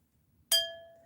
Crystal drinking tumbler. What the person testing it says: that's a nice ring like that is real crystal